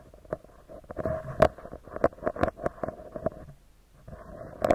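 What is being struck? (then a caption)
Metal mesh microphone grille. A small, round, hollow metal mesh microphone grille is tapped with the fingertips and nails of both hands. Quick, irregular taps and light scratchy rustles sit over a hollow, resonant hum around 630 Hz, with sharper bright clicks on the firmer hits. The tapping quiets briefly near the end, then picks up again.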